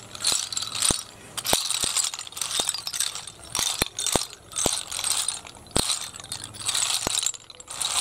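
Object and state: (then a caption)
Pile of empty snail shells. A heap of small, hollow, empty snail shells on concrete is raked and stirred with the fingertips, making them clatter. Bursts of bright, dry rattling and crackling come in waves, punctuated by sharp clicks that die away almost instantly. There is very little low end.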